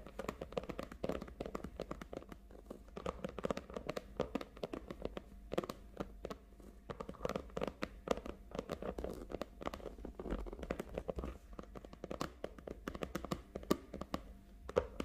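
Long nails rapidly tap and scratch the surface of a small red faux leather case lying flat on a table. The result is a dense, continuous stream of quiet, dry clicks and crinkly scratches with no ring after each hit.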